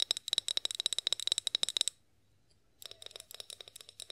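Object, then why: Glass oil bottle. Long acrylic nails rapidly tap and scratch a clear glass olive oil bottle with a pour spout, partly filled and held in both hands. The crisp, bright clicks carry a thin glassy ring near 3.8 kHz. A quick run of taps stops after about two seconds, followed by a brief silence, then softer taps resume.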